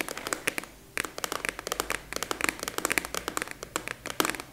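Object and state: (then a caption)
Plastic expanding file folder. A large purple translucent plastic expanding file folder with a clasp is held upright and tapped and scratched with long nails. The result is a rapid, uneven series of sharp, bright clicks and taps with brief scratchy textures, each dying away almost instantly.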